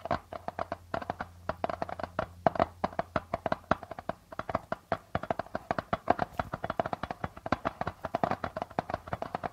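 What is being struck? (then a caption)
Darbuka drum with plastic membrane. Fingertips and nails of both hands tap and scratch the plastic membrane of a hollow darbuka drum. Dozens of quick, dry, close taps come in a steady patter, each with a short hollow ring around 680 Hz and almost no low thump.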